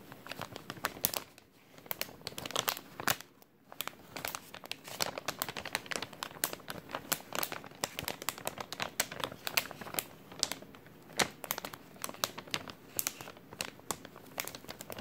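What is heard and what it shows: An empty, thin clear plastic bag is crinkled and squeezed with fingertips for about fifteen seconds. It makes a dense, continuous run of bright, sharp crinkles and crackles with almost no low end, swelling and easing in short bursts with one brief near-silent pause early on.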